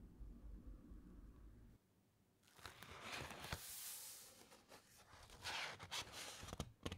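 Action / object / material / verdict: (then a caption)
scrape / thick uncoated paper pages of a large book / paper / none. A large open encyclopedia with thick uncoated paper pages, long nails rubbing over a printed page as the pages are turned. A low rumbling hum fades out into near silence, then bright papery scratching and crinkling rises in waves. Sharper rustles and snaps of the turning pages stand out near the end.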